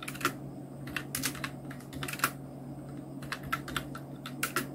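A Nubwo Illution NK-70 full-size black mechanical keyboard with Outemu red switches, round plastic keycaps and blue backlight is typed on continuously with the fingertips of both hands. Short, sharp plastic clacks come in quick, irregular bursts, each dying away almost at once, over a faint steady low hum.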